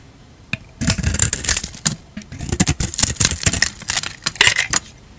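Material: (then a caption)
Soap. A utility knife blade scrapes and shaves flakes off a palm-sized solid purple Lux bar soap held in a hand with long dark nails. The result is a run of crisp, bright, dry scratchy strokes in quick irregular bursts with short pauses and almost no ring after each stroke.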